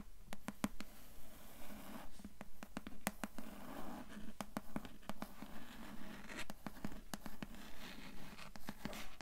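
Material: Cloth, board.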